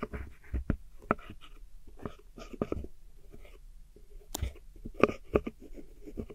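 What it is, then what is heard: Pressed powder eyeshadow scraped. A metal hook tool with a white handle scratches and crumbles pressed powder eyeshadow in a small square black plastic palette with four pans, while a finger holds the palette steady. Soft, dry scraping and crumbling sounds are broken by short, sharp clicks and taps as the tool digs into the powder.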